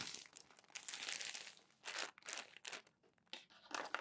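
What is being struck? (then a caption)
Glossy paper magazine. Hands turn and smooth the wrinkled pages of a crumpled glossy paper magazine. Bright, dry crinkling and rustling come in irregular bursts with brief quiet gaps and almost no low end.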